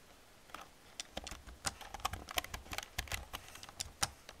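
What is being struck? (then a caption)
Plastic computer keyboard keys. An old black plastic computer keyboard with hollow plastic keys is typed and tapped with long painted nails and fingertips. About 19 sharp, bright clicks and clacks with very short decay are heard. They come in an irregular rhythm over a quiet background.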